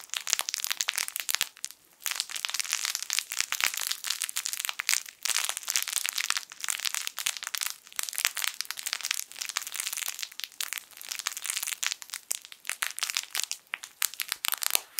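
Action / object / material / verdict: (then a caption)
scrape / soft fabric toy with crinkle film inside / plastic film / none. A yellow sun-shaped plush fabric crinkle toy with crinkle film inside is crushed and squeezed with fingertips. It makes dense, bright, dry crackling and crinkling in continuous bursts, separated by brief pauses, with almost no low end. Each crackle stops instantly with no ring.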